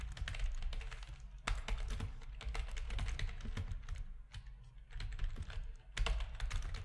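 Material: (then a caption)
Plastic. Fingertips of both hands type quickly on a full-size black plastic RGB-backlit keyboard with a hollow plastic housing resting on a desk. The result is a dense, steady run of bright, clicky keystrokes over a deep, hollow low thump, with brief pauses between bursts.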